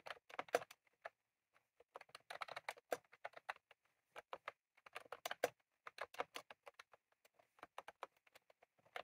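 A full-size retro-style plastic mechanical keyboard with round cream plastic keycaps on a plastic case, resting on a desk, is typed on rapidly with the fingertips of both hands. Quick, dry clicking taps come in uneven bursts, with short pauses between them. Each keystroke is crisp and dies away almost instantly.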